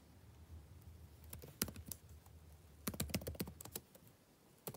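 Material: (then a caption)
Plastic. Fingertips type continuously on a backlit laptop keyboard with plastic keys. The result is quiet, short, dry clicks with bright edges, falling in uneven clusters over a low background rumble. A final tap lands at the very end.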